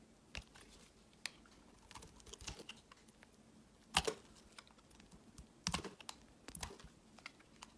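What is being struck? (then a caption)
Glycerin soap bar. A utility knife blade carves and scrapes the surface of a translucent green glycerin soap bar held in the hand. Quiet, crisp clicks and short bright scrapes come at irregular intervals, with a few sharper cuts standing out over a faint steady low hum.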